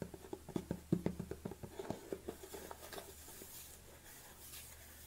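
Long nails tap and scratch the lid and side of a large black plastic protein supplement tub with a yellow label, tilted in the hands. About twelve quick, dull plastic taps come first, with a low body, then fade into softer, hissy scratching over the rest of the clip.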